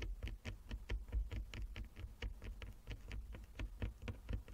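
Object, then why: Wooden chess board. Long fingernails of both hands tap quickly across a flat wooden chess board with inlaid squares. The result is a quiet, uneven patter of short, dry clicks with a soft low thump under each tap, and the sound dies away almost at once.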